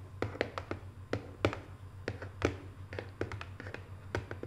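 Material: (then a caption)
Cardboard. Long nails tap fast, like typing, on the lid of a small, hollow, closed rectangular decorative cardboard box covered in Paris photo prints. The result is a quick, uneven run of short, dry clicks with a hollow knock, over a steady low hum.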